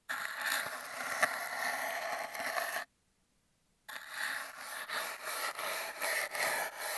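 A plastic toothbrush scratches and rubs its bristles along the surface of an empty, hollow cardboard toilet-paper tube that is taped down. The result is a dry, bright, papery scraping with almost no low end, running steadily for nearly three seconds. After about a second of silence, the rubbing resumes in uneven, surging strokes to the end.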